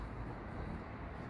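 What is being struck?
Nothing is struck.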